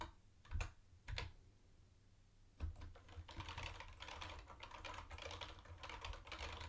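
A mint-green plastic retro keyboard with round white plastic keycaps is typed on with the fingertips of both hands. Two separate clicks and a short pause give way to fast, dense two-handed typing. Each keystroke is a bright, short plastic clack over a low thump.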